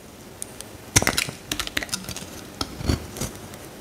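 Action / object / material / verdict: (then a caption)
scrape / soap bar cut with a metal blade / soap / none. A metal utility knife blade shaves and carves curls from a solid pale green bar of soap held in the hand while the piece is broken apart. Quiet hiss gives way to a series of short, dry, crisp scraping and cracking clicks, bright and brittle with a faint low thud. Each one stops almost instantly with no ring.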